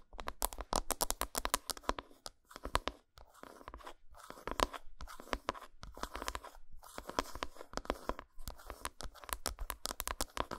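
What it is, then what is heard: Dark chocolate bar. Long nails scratch and tap the flat back side of an unwrapped solid dark chocolate bar. Quick runs of sharp, dry clicks mix with brief scratchy rasps, centered around 1 kHz, with short pauses between bursts. Each tap dies away almost instantly.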